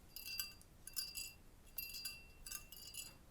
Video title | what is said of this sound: "SpongeBob's Nice Buns" My Fun Mug Collection | you can hear that rattling sound there's something loose inside of this hollowed out